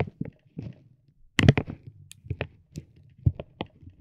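A metal ball-tipped stick taps and rubs a soft, clear vinyl plastic bag wrapped around a roll of tape. The result is quiet, soft crinkling with scattered dull taps, mostly low and muffled, with occasional brief bright crackles.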